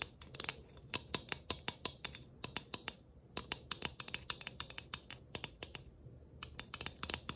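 A flat round galvanized tin Christmas ornament with tree cut-outs and a studded rim is tapped and scratched with a long fingernail. Quick, dry, bright clicks and faint metallic ticks patter in irregular bursts with brief pauses.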